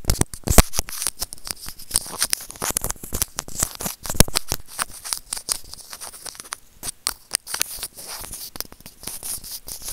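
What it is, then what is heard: Plastic earphone mic remote scraped with tweezers. Serrated plastic tweezers clamp and scrape a small, hollow white plastic earphone inline microphone remote. The result is a dense, irregular run of sharp clicks, scratches and crackling rustle, with bright edges and very short, dry decays.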